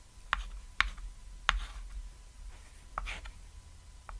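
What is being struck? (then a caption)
Chalk stick on a thin painted wooden chalkboard. A stick of white chalk held in the fingertips taps dots and draws lines on a flat, thin, solid cat-shaped chalkboard (a painted board) lying on red fabric. Five sharp, bright taps click out irregularly, with faint scratchy strokes between them over a low, steady background rumble.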